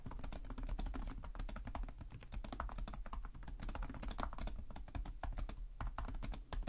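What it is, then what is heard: Plastic laptop keyboard. Both hands type rapidly with short-nailed fingertips on the plastic chiclet keys of a black laptop resting on a desk. A steady stream of short, dry key clicks with bright edges plays over a heavy low thump, each tap dying away almost instantly.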